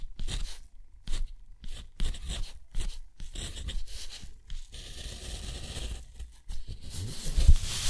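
A steel dip-pen nib scratches out numbers and an underline on a sheet of thick, rough, white textured watercolor paper. Short, dry, bright scratching strokes come in separate bursts with quiet gaps between them. A longer, steadier scrape follows in the middle, like a drawn line, before a few final louder strokes.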